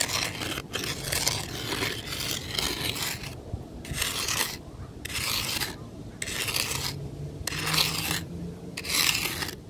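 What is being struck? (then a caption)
Fine gravel and sand ground raked with a wooden stick. The end of a long, weathered wooden stick scratches and rakes across fine gravel and sand ground. It makes bright, gritty rasping strokes. The first few seconds are a steady scrape, and the later strokes come in bursts with short, quieter pauses between them.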